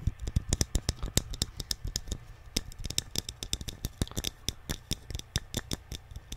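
A small, hollow, painted wooden Alice in Wonderland nesting doll is held in both hands and tapped with fingertips and nails. About 35 quick, dry taps land in an uneven rhythm, each a short click with a hollow low thump that stops almost at once.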